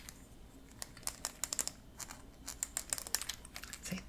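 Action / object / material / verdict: flick / 3D printed plastic articulated dragon with hollow jointed links / plastic / none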